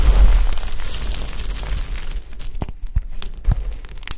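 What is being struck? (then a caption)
Pile of soap shavings. Two bare hands press, squeeze and crumble a heap of brittle, dry, many-coloured soap chips and shavings on a tiled surface. A dense, continuous crackling crunch fills the first two seconds over a low rumble, then thins into scattered sharp crackles and pops as the pieces break apart.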